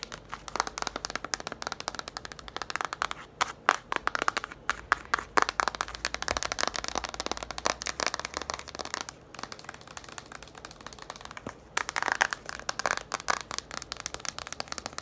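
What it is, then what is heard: Cardboard board book. Long nails tap and scratch quickly across the glossy cardboard cover of a small yellow children's board book, 'Bébé Loup s'habille', held up in both hands. A dense, steady stream of short, dry, bright clicks and scratchy rasps, with brief pauses around 9 and 12 seconds.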